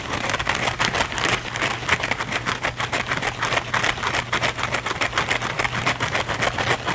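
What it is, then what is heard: Foam sponge. A thin, flexible blue foam sponge held in both hands is scratched and rubbed fast and aggressively with the fingernails. The result is a dense, uneven run of rapid, bright, dry scratching bursts over a faint steady low hum.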